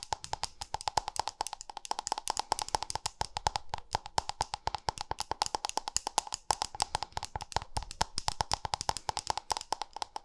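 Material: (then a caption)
Plastic. A small round white-pink plastic cosmetic cream jar with a lid, held in one hand, is tapped rapidly on its lid and rim with long nails. Around 85 sharp, dry clicks follow in a steady stream, each dying out almost at once, with a hollow plastic tone near 855 Hz and a bright edge on top.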